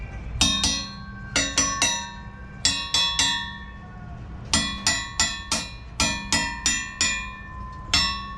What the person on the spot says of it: we've got a nice good solid bell tone on all four of the blades on the prop which tells us there's a lot of life left in them